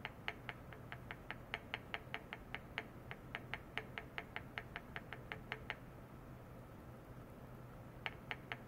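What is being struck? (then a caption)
Small stainless steel bowl tapped with a plastic rod. A small, empty, shallow stainless steel bowl rests on a white mesh pad, with a clamped probe on its rim, and is repeatedly tapped and rubbed inside with a long white plastic rod. A fast, steady run of sharp, bright metallic ticks rings briefly at a high pitch over a low, constant hum. The ticks stop for about two seconds, then three more follow near the end.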